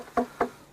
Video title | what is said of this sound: Arche Noah gefunden 2 / 6 DOKU | it's wooden it's not a rock you hear that